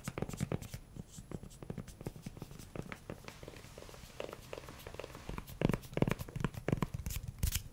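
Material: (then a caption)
Silicone. A pink silicone spatula with a grey handle and a solid, flexible head is tapped and rubbed with fingernails and fingertips. Soft, irregular taps and dull low thuds mix with brief scratchy rubbing, and a few brighter clicks appear. The tapping grows louder and firmer toward the end.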